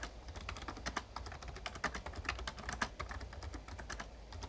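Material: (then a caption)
Plastic. Fast fingertip typing on a full-size backlit plastic Razer Ornata Chroma mecha-membrane gaming keyboard produces a rapid, irregular stream of short, crisp clacks that are bright but muted. A steady low hum sits underneath the keystrokes.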